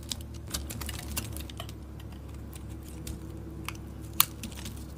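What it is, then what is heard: Soap bar being shaved. A solid, dark green, oval, palm-sized soap bar is held in the hand and shaved with a metal utility blade. Soft, dry scraping clicks and crisp crackles flicker over a steady low hum, with one sharper, brighter snap near the end.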